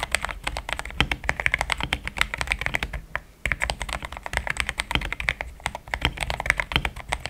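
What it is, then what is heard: Mechanical keyboard with plastic keycaps. Fingertips type in steady, rapid taps on a pink-framed compact mechanical keyboard with thick cream XDA plastic keycaps, linear switches, a polycarbonate plate and a hollow case. Each keystroke is a short, dry clack with a bright click around 2 kHz and a soft low thud underneath, dying away almost instantly. The typing runs continuously apart from a brief lull a little past three seconds.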